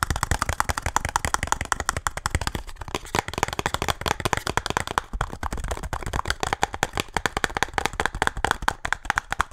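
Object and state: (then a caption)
Cardboard box. A small printed cardboard speed cube box is held in the hands and tapped fast with fingertips and nails. The result is a rapid, steady stream of short, dry, hollow clicks and taps with no ringing, centered around 1.1 kHz with a soft low thump beneath.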